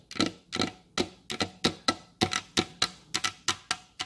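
Very long blue acrylic nails on both hands tap rapidly, like typing, on a large, solid, flat wooden tabletop. The result is a quick, uneven series of crisp, bright clicking taps, each with a soft low knock around 350 Hz that dies away almost at once.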